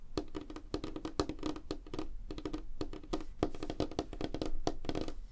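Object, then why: Light wooden tabletop. Fingernails tap fast on a flat, solid, light wooden tabletop with both hands, mixed with light scratching. The result is a dense, uneven run of short, dry clicks and knocks with a woody low body around 300 Hz and almost no ring, over a soft scratchy hiss.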